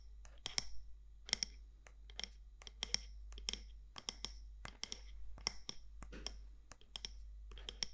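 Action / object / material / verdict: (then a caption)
tap / candle jar with lid, glass or ceramic / unknown / none. Long nails tap the side walls of a medium matte black candle jar, likely glass or ceramic, with a gold lid. The result is a quick series of short, sharp, bright clicks that stop dead with no ring, set over a faint low steady hum.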